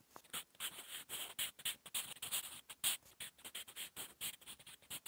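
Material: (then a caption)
Paper. A sharpened wooden Staedtler Lumograph 8B pencil, held in the fingers, writes quick handwriting with its graphite tip on a flat sheet of lined drawing-paper notebook resting on a solid surface. About two dozen short, separate scratching strokes come in rapid succession, each a soft, bright hiss peaking near 3.2 kHz with almost no low end and stopping dead between strokes.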